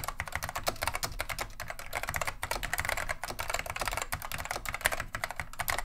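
A beige plastic vintage Wang 725 mechanical keyboard with Alps SKCM Neon Green/Lime switches is typed on continuously with the fingertips of both hands. Rapid, dense, bright clacking keystrokes run throughout, each short and sharp with almost no ring. Faint low rumble sits underneath.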